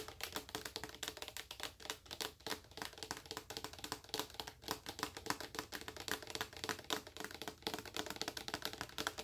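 Long acrylic nails tap rapidly on the front and sides of a large, full, clear plastic lotion bottle. The result is a dense run of sharp, bright clicks with almost no low end, each dying away almost at once.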